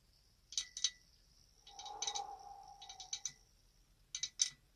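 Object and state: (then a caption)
Glass candle holder. A glass candle holder is tapped with light, sharp, high-pitched clicks that come in small clusters and stop almost at once. A soft, breathy hiss fills the middle stretch between the taps, as if someone is whispering.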